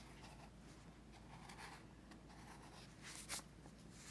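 A pencil tip scratches across a paper sketchbook page resting on a teal folder, while a finger from the other hand rests on the page. Quiet, steady scratching continues over a low hum, with bright, hissy strokes throughout. One sharper, louder stroke stands out near the end.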